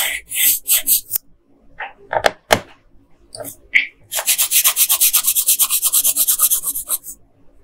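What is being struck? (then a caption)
Wooden colored pencil on paper sheet. A yellow wooden colored pencil is rubbed back and forth on a flat paper coloring page. A few bright, scratchy strokes open the clip, followed by some softer, sparse scrapes. It then settles into a fast, steady run of high, hissy back-and-forth strokes that fade out at the end.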